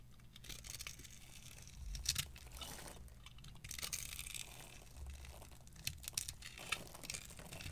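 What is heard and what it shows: A small metal knife repeatedly carves and scrapes thin strips off a solid, palm-sized pale yellow bar of dry soap held in one hand with long purple nails. The cutting makes a steady, crunchy, crinkling scrape with a bright, high hiss, rising into louder bursts of crackling around two, four and six seconds.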